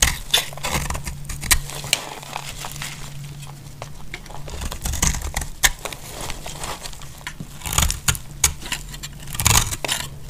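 A utility-knife blade shaves curls from the edge of a solid, dry pink soap bar held in hand, making crisp, dry scraping and crackling strokes with bright, sharp edges. A steady low hum runs underneath throughout.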